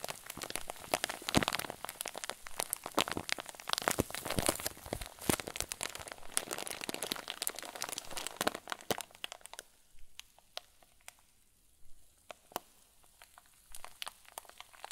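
A clear plastic zip bag full of white fluffy filling is held in both hands and squeezed and crumpled. Dense, bright crinkling and crackling runs steadily for about the first ten seconds, then thins out into sparse, quieter crackles and pops until the end.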